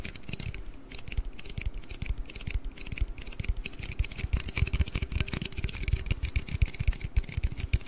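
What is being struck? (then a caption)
Aluminium drink can. A large, hollow aluminium Red Bull can is held upright beside the mic and tapped and scratched with fingernails. Rapid, dry clicks and soft low thuds mix with a faint bright scratching hiss. Each tap dies away almost instantly with no ring.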